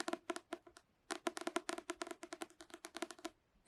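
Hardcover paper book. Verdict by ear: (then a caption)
Solid. Quick, dry taps on a solid hardcover nature-writing guide book come in uneven bursts with short pauses. The knocks are crisp and woody, centered around a mid pitch, and die away almost instantly. They sound almost hollow, but the book is solid.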